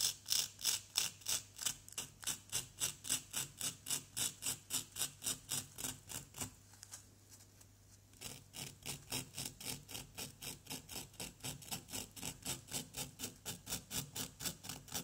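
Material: Plaster.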